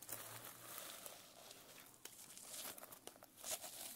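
Long nails scratch across the plastic sequin cover of a closed notebook and flip the sequins over. The result is a steady, bright crinkling rasp with sharp, quickly fading clicks and little low end.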